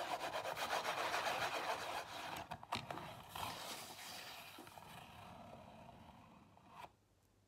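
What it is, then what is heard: Cardboard box scratched. Long nails scratch and rub the top and front of a small Zara cardboard perfume box standing on a table, making a dry, rapid rasping at a fast, uneven pace. The scratching is steadiest for the first two seconds, breaks into a few sharper strokes, then fades to a soft rub before stopping, with one sharp click at the very end.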